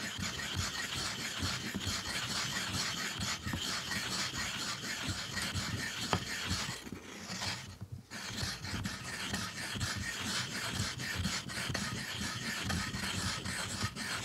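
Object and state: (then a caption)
Ink stick ground on a stone inkstone. A black ink stick is held upright and rubbed back and forth across the wet, flat grinding surface of a dark rectangular stone inkstone set in a tray, grinding ink. It makes a continuous gritty, rasping scrape with bright, hissy texture and a soft low rumble. The steady level dips briefly for about a second near the middle before the rubbing resumes.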